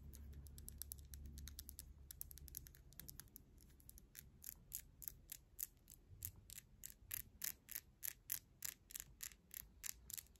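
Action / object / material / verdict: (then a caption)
tap / acrylic fingernails tapped nail on nail / acrylic / none. Long glitter-gold acrylic fingernails are tapped and clicked against each other, nail on nail, with the fingertips held together. A fast flurry of bright, sharp clicks over a low rumble settles into slower, more distinct taps, each very short and dry with almost no ring.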